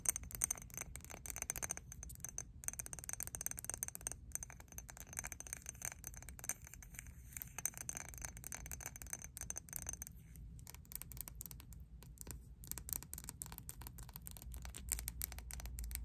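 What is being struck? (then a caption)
Glass perfume bottle. A pink Victoria's Secret "Tease Glam" perfume bottle, hand-sized with a quilted diamond pattern and a black cap, apparently glass and partly full, is held in both hands and tapped and scratched with long teal acrylic nails, then tilted sideways. The result is a quiet, steady run of rapid, sharp clicks and scratchy scrapes with a bright glassy ring at the top and a soft low rumble underneath.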